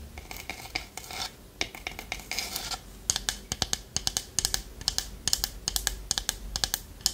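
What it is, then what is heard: Wooden lidded pot. Long nails scratch and tap the polished sides of a small hollow wooden pot with a lid. The first few seconds are soft, rasping scratches, followed by a quick run of sharp, bright taps that die away almost instantly.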